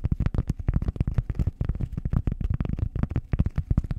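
A flat, solid, round cork disc about the size of a hand, held over the microphone, is scratched and tapped with long acrylic nails. A rapid, steady run of soft, dull, low thumps and scrapes follows, each dying away almost at once, with a muffled, bass-heavy close-up tone.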